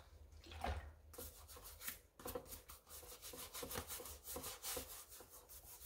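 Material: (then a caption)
Rubber. A rubber-gloved hand scrubs the wet white rubber/foam sole of a pink mesh sneaker with a wooden-handled scrub brush over a basin. Repeated bristly, wet scraping strokes rise and fall in a broadband hiss that extends up into a bright top.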